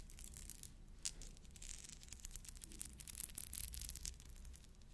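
Fingernails scratch and roll over the beads of a pearl bead necklace, whose pearls later fell apart. The result is a quiet, continuous run of bright, crisp scratching and tiny clicking ticks over a faint low rumble, with a few sharper taps standing out.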